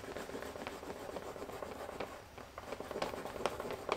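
The cut edge of a thick, solid, flat vegetable-tanned brown leather panel for a leather binder, held in one hand, is burnished by rubbing a turned wooden slicker back and forth along it. A steady, dry, mid-toned friction rasp continues throughout, with short brighter squeaks and crackles standing out on some strokes.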